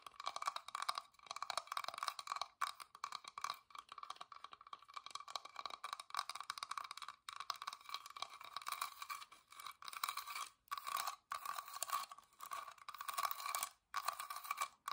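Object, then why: Carved wooden box. A small hollow whitewashed wooden box with a carved floral openwork lid is held upright while fingertips and long nails tap and scratch across the carved surface. Dense, quick, dry clicks and crunchy scrapes with a hollow midrange tone and bright edges run almost continuously, with no low end and only a few short pauses.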